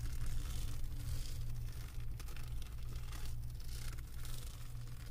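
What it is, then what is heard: Resin diamond painting canvas. Long acrylic nails rub and scratch across the resin drills of a flat diamond painting on a canvas board. The result is a continuous, bright, gritty scratching texture that swells and fades in uneven strokes over a steady low hum.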